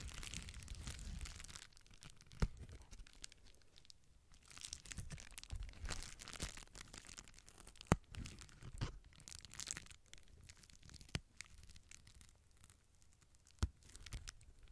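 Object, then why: Plastic bubble wrap sheet. Fingertips and nails pinch and squeeze the air-filled bubbles at the edge of a clear plastic bubble wrap sheet held up in the air. Steady crinkling and rustling fills the clip, broken by four sharp, bright pops.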